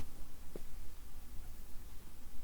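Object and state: Nothing is struck.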